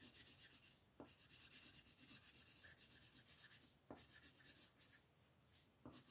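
A red wooden colored pencil rubs and scratches back and forth over a thin white coloring book page lying flat on a table, held down by the fingertips of one hand, shading the ground. Quick, even bursts of bright, dry scratching repeat in a steady rhythm, broken by brief pauses where a sharper tap marks the start of a new run of strokes.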